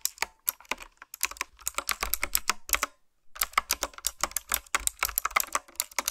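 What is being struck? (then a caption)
Mechanical keyboard with round plastic keycaps. Fingertips with long nails type on a retro-style, typewriter-style mechanical keyboard with round plastic keycaps. A quick run of bright, sharp clicks with very little low end breaks briefly around the middle, then resumes.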